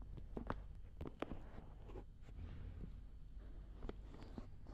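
Long red nails and fingertips pinch, rub and scratch the rims of the soft silicone ears on a black binaural dummy head microphone. Close, quiet rubbing and muffled rumble fill the clip, broken by short, sharp scratchy clicks and brushes. Each touch is dry and stops at once, with no ring.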